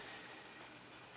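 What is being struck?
Nothing is struck.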